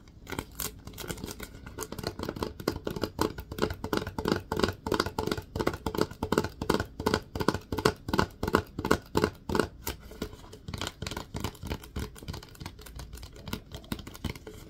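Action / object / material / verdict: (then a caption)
tap / plastic wipes canister / plastic / none. Fingertips tap and scratch the label and body of a Lysol plastic disinfecting wipes canister. Rapid, irregular hollow taps with a mid-low ring are mixed with dry scratching that rises and falls in bursts. Each tap decays quickly.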